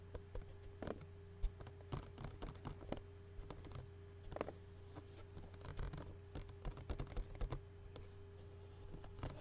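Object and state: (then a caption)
Thin plastic takeout lid tapped and scratched. Fingertips and short nails rapidly tap and scratch the thin, hollow clear plastic lid of an empty takeout bowl. The result is a quiet stream of quick, dry clicks and light scratchy rustles over a steady low hum.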